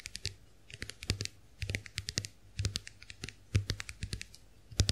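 Long nails tap and scratch the shells of a small round white plastic clamshell hand mirror that is held open. Quick, bright clicks come in short bursts with a low thump under each group, and soft scratching fills the gaps.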